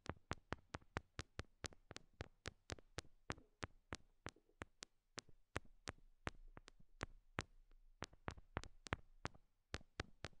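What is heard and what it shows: Long nails tap on small, solid pink rhinestone heart stickers stuck to the silicone ears of a binaural microphone. The result is a steady series of sharp, dry clicks that snap up into the high range and die away almost instantly, over a faint low hum.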